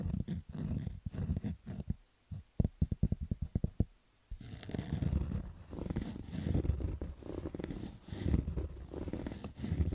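Fingertips and nails scratch along the lower edge and crown of a black stitched cotton baseball cap, making low, muffled rustling and scraping. About two seconds in, the scratching breaks into a run of short, separate strokes, then resumes as steady rough scratching through the rest of the clip.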